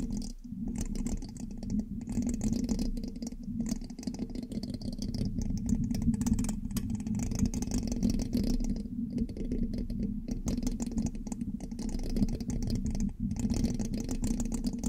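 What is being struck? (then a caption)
Metal mesh microphone grille. A thin metal pin held in the fingertips scratches and taps the hollow black metal mesh grille of a large USB microphone. The result is a steady, close, dense rasping and rattling with a strong low hum-like body and little high content, broken by a few brief dips.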